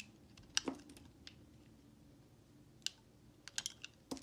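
A utility knife blade scrapes and carves curls off a solid white, palm-sized Dial bar soap held in the hand, breaking off chunks. Nine short, sharp, bright clicks and crackles stand out over a quiet, low background. Each one cuts off almost instantly.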